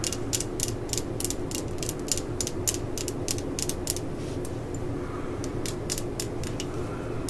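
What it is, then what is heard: Steel drill bit. Long fingernails scratch and tap along the flutes of a large spiral steel drill bit held in the fingers, while its bit case sits untouched in the background. Quick, bright ticking and scraping clicks come in rapid runs over a steady low rumble, easing briefly around the middle before picking up again.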